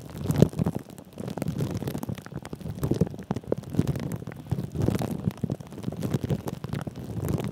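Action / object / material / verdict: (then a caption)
scrape / plastic cling film over a microphone head / plastic film / none. Fingertips of both hands rub and press clear plastic cling film wrapped around a metal mesh microphone head. The result is a dense, continuous run of close crinkling and scratching, with quick crackles riding on a heavy, muffled low rumble that swells and fades in waves, and little bright top end.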